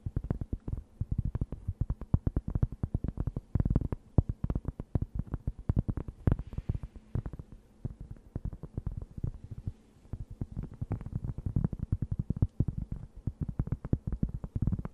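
A thin, round, solid and flat cork board held close to the mic is scratched with long nails. Dense, rapid dry scratches and taps sit almost entirely in a low, thumping range, with no high content and very little ring.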